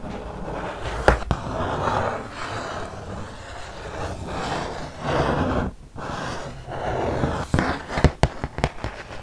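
Long nails scratch and tap across the glossy printed surface of a flat, solid cardboard ludo board, about 30 cm square, held in one hand. Soft, hissing scratching swells and fades in several passes, with a couple of sharp taps near the start and a quick cluster of crisp taps toward the end.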